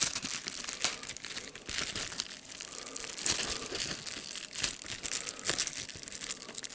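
A sheet of clear plastic bubble wrap with air bubbles, held in one hand, has its bubbles squeezed and popped by the fingers as the sheet is crinkled. The result is a continuous bright, dense crinkling and crackling, with sharp pop-like transients standing out at intervals. There is almost no low end.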